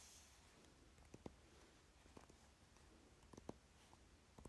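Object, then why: Velvet-covered palette case edge. Fingernails tap and scratch along the narrow side edge of a dark velvet-covered eyeshadow palette case marked with the word DECAY, held in the hand. About five short, soft clicks rise out of a quiet scratchy rustle over a low steady hum, each dying away almost at once.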